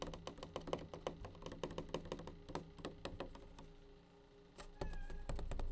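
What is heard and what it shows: A plastic bleach tray is tapped in quick, uneven bursts of short, dry clicks over a steady low hum. The tapping fades briefly near the end, then returns louder and duller.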